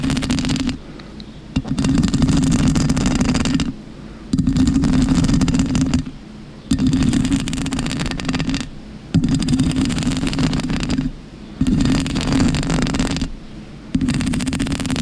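Long pink acrylic nails on both hands scratch and rub a black, soft, porous foam windscreen covering a microphone. The result is seven loud bursts of rough, crackling scraping with a heavy low rumble, separated by brief quieter pauses.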